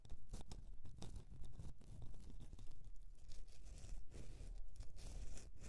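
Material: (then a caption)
Soap. Long nails scratch the side of a solid bar of soap standing on its edge, making dry, rough, tearing-like scrapes in quick, uneven strokes. Each stroke carries a deep, thudding low body with bright, crisp scratchy edges, and the strokes run continuously with short gaps and little ring.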